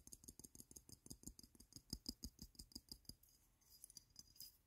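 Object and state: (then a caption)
Glass perfume bottle tapped and scratched. Fingertips and nails rapidly tap a hand-sized frosted glass perfume bottle with a printed logo, partly filled with yellow liquid, giving about 23 quick, dry clicks with short bright ticks and little ring. In the last second and a half the tapping gives way to softer scratching across the glass.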